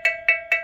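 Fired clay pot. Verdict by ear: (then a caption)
Sound. A lead-free fired clay (barro) piece made by artisans is struck three times, each strike giving a bright, bell-like ring with a steady tone near 2.2 kHz and a lower hum near 650 Hz that fades quickly. The ringing marks the piece as highly resistant and of high quality thanks to quality materials, while lower-quality pieces would sound more hollow.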